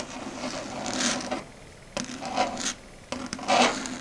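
Long red stiletto nails, with the fingers curled into a claw, scratch and tap across a flat dark grey chalkboard surface. There are three bright, raspy scratching passes with quieter pauses between them. A sharp tap starts each of the later two passes.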